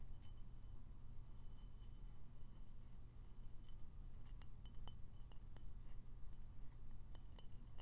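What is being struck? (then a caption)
Ceramic coffee mug. A medium ceramic coffee mug with a sunflower print and a green glazed interior, hollow and apparently empty, is held in both hands and tapped with fingertips and nails. Quiet, sharp clinking ticks with very short ring scatter across the clip over a steady low hum.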